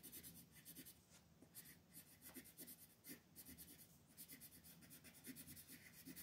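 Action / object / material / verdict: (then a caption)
scrape / colored pencil on a thin paper sheet / paper / none. A teal colored pencil makes short scratching strokes along the outer border of a thin mandala coloring sheet. The quiet, dry scratches come in quick, bright bursts with a faint low rasp underneath.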